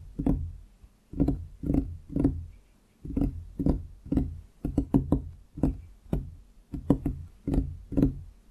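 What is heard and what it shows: Fingertips of both hands drum and tap on a large solid wooden desktop beside the microphone, giving about twenty dull, woody knocks in an uneven rhythm with short pauses and quick clusters. Each tap is a low, hollow thump centered near 277 Hz with a faint bright click and almost no ring.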